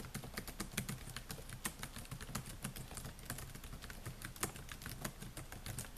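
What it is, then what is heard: Plastic laptop keyboard being typed on. Fingertips type on the plastic keys of a silver Dell laptop with a metal and plastic body, making a steady stream of quick, dry taps. Each tap is short with a bright click on top of a low thud, and the taps overlap too densely to count cleanly.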